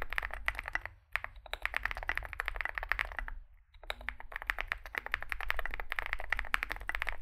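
Two hands type with their fingertips on a Zoom65 65% mechanical keyboard with a solid metal case and grey and white SA-profile plastic keycaps, resting on a desk mat. Quick, dense runs of sharp, clacky key presses pause briefly near one second and again near three and a half seconds. A steady low hum sits underneath.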